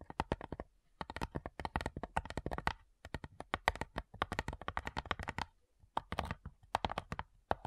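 Long nails tap rapidly across the lid of a flat, light, hollow wooden cigar box, moving over the top. The result is quick bursts of crisp, dry clicks with a faint hollow knock, separated by short pauses.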